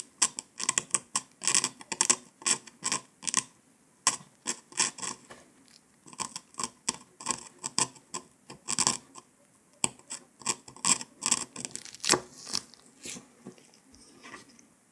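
A metal needle scratches along the pressed circle of a round, flat, brittle dalgona honeycomb sugar candy disc resting on paper and held by a gloved hand. It makes a rapid, uneven series of short, dry, bright scratching clicks and crackles, with brief pauses between bursts and almost no low end.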